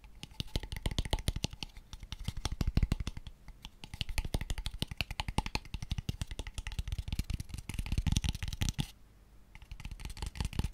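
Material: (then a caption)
Wood. A small, light-coloured hollow wooden box with open ends is held in the hands and tapped very quickly with fingertips and nails. The result is a dense, fast stream of short, dry knocks with a deep hollow thump underneath and bright clicky nail ticks on top. The tapping pauses briefly near the end, then starts again.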